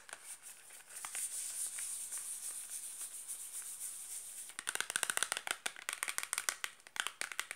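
Long black-painted nails quickly scratch and tap a small closed rectangular cardboard box of Granado sulfur soap, hollow with the bar inside. A steady bright, hissy scratching runs for the first few seconds. It then gives way to a fast, aggressive burst of sharp, dry, clicky taps with almost no ring or low end.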